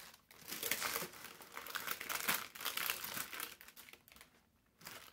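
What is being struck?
Thin parchment baking paper sheet.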